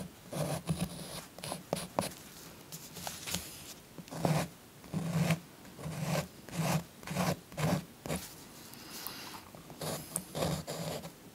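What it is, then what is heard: Chalk scribbling on a paper colouring page. A blue chalk stick held in the fingers is scratched and rubbed across a thin paper coloring page lying flat on a soft pink cloth, while the other hand, with long nails, holds the page. Short bursts of dry, gritty scraping come in uneven strokes with brief pauses between them. The strokes have a low, grainy body and a bright, hissy edge.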